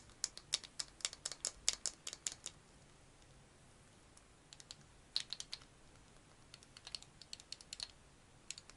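Fingernails tap rapidly on a small hollow pink plastic egg-shaped case held close, giving quick, dry, bright clicks with almost no ring. A dense burst of taps runs for about two and a half seconds, followed by a pause and then scattered, lighter clusters of taps until the end.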